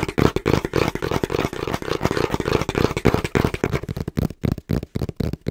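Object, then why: Cardboard box. Fingertips tap fast on the printed face of a small, hollow, brown cardboard box held in both hands. The result is a rapid, uneven stream of dull, hollow thuds with a low-mid body around 450 Hz. Each tap dies away almost instantly, and the taps come in bursts with short pauses near the end.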